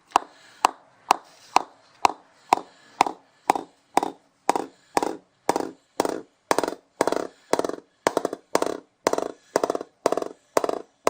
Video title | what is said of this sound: BDM The Game Limited Edition Cricket Bat | That's nice. Not too soft, going pretty well off centre too.